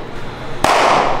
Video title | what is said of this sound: [아저씨 야구해요?] 데상트(Descente) 글러브 종류별로 다 모아봤다!! 오늘은 데상트 Day~♥ | 이렇게 소리도 딱딱한 소리가 나요.